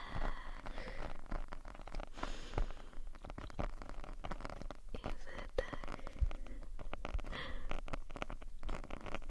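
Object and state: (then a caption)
Foam microphone windscreen being scratched. Long painted nails on both hands scratch along the black foam windscreen of a RØDE shotgun microphone, a soft porous cylinder. The result is a dense, continuous rustling crackle with a heavy, muffled low-end rumble that swells and fades throughout.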